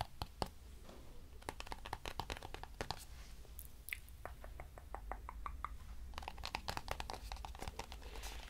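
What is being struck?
Small cardboard box.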